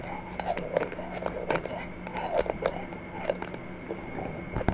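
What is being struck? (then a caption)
Small glass jar with metal screw lid. Long nails tap on the sides and silver metal screw lid of a small, empty-looking clear glass jar held in the hands. An irregular series of quick, sharp clicks and light clinks rings for almost no time, over a faint, steady background hum.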